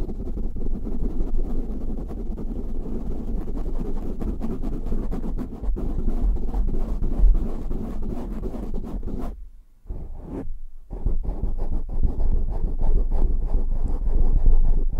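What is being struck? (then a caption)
Foam microphone windscreen. Fingertips scratch fast and hard at a black foam windscreen on a microphone, then hands cup it, making a dense, boomy low rumble of rapid rubbing and thumps. The sound nearly drops out briefly around the ten-second mark before the muffled scratching and cupping resume.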